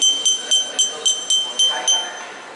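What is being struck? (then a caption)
Glass drinking glass tapped with a metal spoon. A spoon taps repeatedly against a drinking glass holding a lechero, espresso with milk poured from high, following the Veracruz custom for asking for a refill. Eight bright, evenly spaced clinks ring with a clear high pitch around 3.1 kHz, each fading quickly over a faint background murmur.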